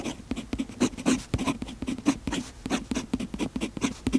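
A fountain pen's metal nib scratches across the page of an open paper notebook while writing, making a quick run of short, dry scratchy strokes. The strokes are crisp with bright, high hiss and a faint midrange tone, and they stop cleanly with almost no ring.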